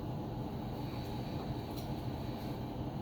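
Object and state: Nothing is struck.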